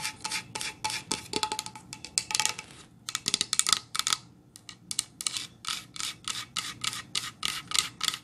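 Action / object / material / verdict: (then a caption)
tap / painted pine plank sign / pine wood / none. Long nails tap and scratch across a painted solid pine plank sign, then the sign is tilted up. About thirty quick, dry, bright clicks and scrapes come in uneven bursts with brief pauses. They have almost no low end and die away instantly.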